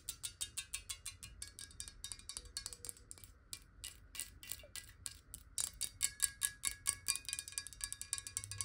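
Long nails tap fast on the side walls of a clear glass bottle partly filled with water, tilted in the hands. The result is a quick, uneven run of bright, crisp clicks with almost no ring, some taps louder than others and a faint glassy tone beneath.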